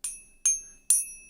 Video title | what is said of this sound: Think You Have FAKE Silver? Here's How I Test My Silver Coins! | that's a way different sound